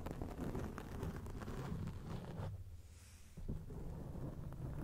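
Long acrylic rainbow nails scratch and rub a grey foam windscreen on a microphone. The result is a dense, low, rumbling scratching. It dips briefly to a quieter hiss near the three-second mark before the rubbing resumes.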